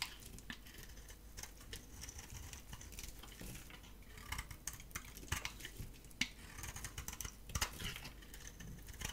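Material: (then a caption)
Soap. A solid, gold-painted bar of dry soap with a cream core is held in the hand and shaved with a metal utility blade, and the flakes pile up. The result is quiet, dry, crackly scraping made of many short, bright ticks, with a few sharper snaps standing out in the second half.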